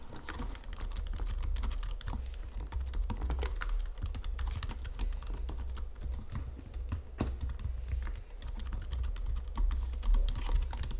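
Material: Plastic.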